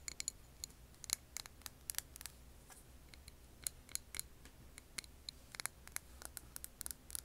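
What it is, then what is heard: Glass candle jar tapped with nails. Long nails tap a clear glass jar candle with a paper label, full of wax. Quiet, crisp, high clicks come in an irregular, uneven rhythm, each dying away almost instantly over a faint low hum.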